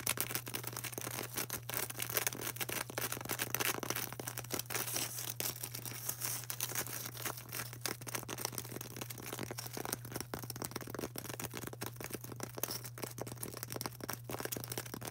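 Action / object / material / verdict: tap / polystyrene foam ball / polystyrene foam / none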